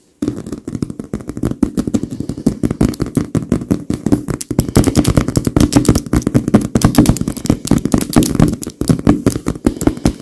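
Both hands tap rapidly on a large, filled white leather pillow with the tips of very long pink nails. The result is a dense, continuous patter of quick, dull taps with a low, thumpy body around 300 Hz. Each tap is short and dry with almost no ring.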